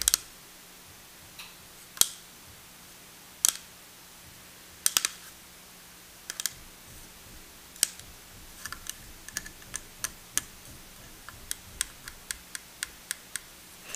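A plastic miniature desk, the last of a set of miniature furniture pieces, is tapped repeatedly over 14 seconds. Short, bright, high-pitched clicks with almost no ring come at irregular intervals, sparse at first and then quicker and closer together toward the end.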